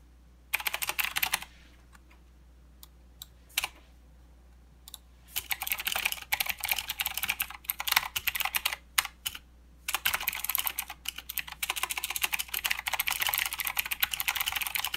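Both hands type with their fingertips on a full-size mechanical keyboard with plastic keycaps and blue clicky switches. Sharp, bright clicks come in a short burst, then a few scattered single keystrokes, then longer bursts of fast typing with brief pauses. The clip ends in steady continuous typing over a faint low hum.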